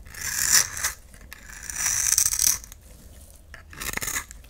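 A solid oval yellow bar of soap, held in the hand, is shaved and scraped with a utility knife blade into fine strands. Three bright, hissy scraping strokes rise and fade with quiet pauses between them, and their crisp texture sits mostly in the high range with almost no low end.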